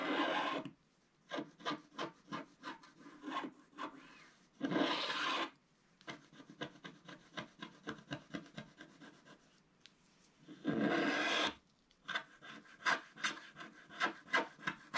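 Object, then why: Scratch-art paper card with wooden stylus. A wooden stylus scratches the black coating at the bottom edge of a flat scratch-art paper card held in one hand. Quick, dry scratching strokes come in rapid bursts, broken by three longer continuous rasping rubs near the start, middle and end. The sound is thin and papery with little low end.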